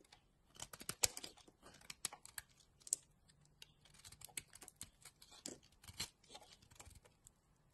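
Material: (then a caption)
Soap. A utility knife blade cuts and scrapes slices off a solid yellow bar of soap held in the palm. Quiet, crisp, bright scraping and crunching strokes come in irregular short bursts with very little low end and almost no ring after each stroke.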